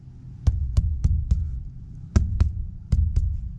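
A rainwater collection tank wall is thumped below the water line, on the section filled with water. The thumps are dull, low and solid, with almost no ring or high end, repeated in a short series. The solid sound shows there is water behind that part of the wall, which is how the water level is found.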